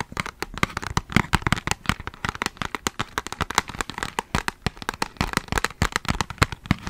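A small, flat, rectangular red-and-white Ghana chocolate box made of printed cardboard is held in one hand close to the microphone while fingertips and nails tap and scratch its surface. Rapid, dry, crackly taps and scratches sound in quick succession, with short sharp transients that die away almost instantly. The box appears closed.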